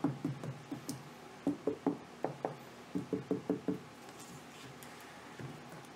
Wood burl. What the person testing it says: stuff over here is pretty punky, though I don't know, it sounds solid enough